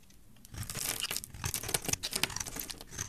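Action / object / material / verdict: scrape / bar of soap / soap / none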